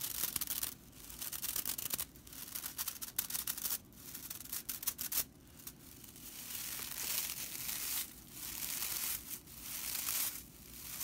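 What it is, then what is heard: Straw whisk broom bristles. Dry straw bristles of a whisk broom are squeezed and scratched with fingers and long nails. The result is a bright, crackling, papery rattle in dense bursts and longer rustling stretches, separated by brief quieter pauses.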